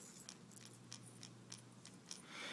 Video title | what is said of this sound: Lure Review- Lucky Craft Gunfish | there's another one right in here that goes from side to side you can hear this one if you listen closely